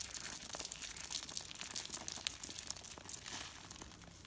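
A bare hand squeezes and crushes a small light-blue dry soap rose, made of thin, brittle coiled curls of the same blue soap, between fingertips and palm over a rubber mat. A dense run of dry, bright, crinkly crunches and crackles is heard, with very little low end. It tapers slightly as the curls crumble into flakes.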